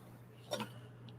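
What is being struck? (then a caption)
Cantaloupe melon. A cantaloupe melon is tapped to check its ripeness, giving two quick, dull thuds with a low hollow tone that die away almost at once. A steady low hum sits underneath, and no verdict on the melon is given.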